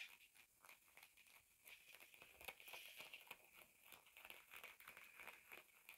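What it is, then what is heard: Denim jeans being scratched. Fingertips and nails scratch and rub the thick cotton fabric of a pair of blue denim jeans lying flat, working around the back pocket and seams. The result is a quiet, bright, dry rasping made of quick, irregularly spaced strokes, with almost no low end.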